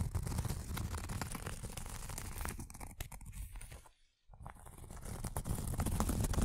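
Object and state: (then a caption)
Cork coaster scratched with long nails. Long acrylic nails scratch the textured surface of a round, thin, solid cork coaster, making a dense, rapid, crackly rasp with a heavy low rumble. The scratching thins out after about 3 seconds, drops to near silence around 4 seconds, then builds back up to full strength by the end.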